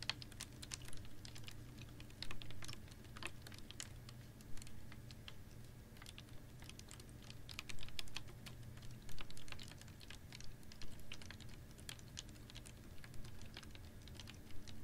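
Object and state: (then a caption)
Plastic water bottle tapped with nails. Long nails tap on a clear, ribbed PET water bottle holding a little water, held upright in one hand. Quick, irregular, bright clicks patter with a few louder taps, over a steady low hum.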